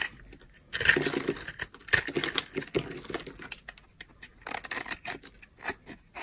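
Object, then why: Bar of soap scraped with a knife blade. A palm-size solid bar of dry purple soap, held in the hand, is scraped with a utility knife blade. The sound is a run of crisp, dry scraping and crumbly shaving strokes with bright, gritty texture and quick, dead stops between passes, with no speech.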